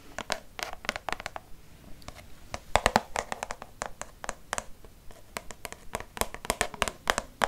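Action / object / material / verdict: tap / plastic soap pump bottle / plastic / none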